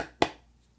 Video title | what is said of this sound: The Best Holiday Season Knife Gifts (2020)🎁 | there's no rattling so these these two bits are in there really really good